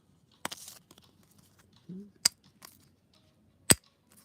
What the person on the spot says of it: it's not plastic and uh sounds like metal